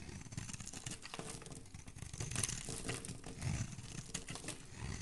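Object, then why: Bar of soap cut with a metal blade. A solid oval green soap bar held in the hand is carved and shaved with a metal utility blade. Steady, crinkly scraping and crumbling shavings with a bright hiss over a low rumble, in short overlapping strokes with no clear gaps.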